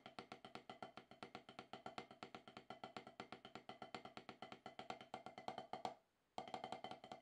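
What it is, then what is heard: Rubber drum practice pad. Two wooden drumsticks tap a steady stream of about 56 quick, dry strokes on a solid, octagonal HQ snare practice pad with a dark rubber surface. Each stroke is a short, woody knock around 750 Hz with almost no ring. The playing pauses briefly just before the six-second mark, then resumes for the last second.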